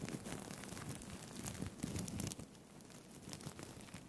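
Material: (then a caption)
Plastic sequins. Fingertips brush and flip the plastic sequins on a blue-green sequined fabric tie held in both hands close to the mic. The result is a dense, soft crinkling and rustling with quick clicky flutters and bright sparkle on top. The texture is fuller through the first half, then thins to a quieter, steadier patter.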